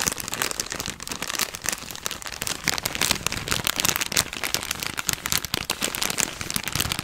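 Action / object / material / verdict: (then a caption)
scrape / thin plastic bag / plastic / none. A thin, empty yellow plastic bag, folded up, is squeezed and crinkled with the fingers. It makes a dense, steady run of bright, sharp crackles and rustles with little low end, lasting about seven seconds.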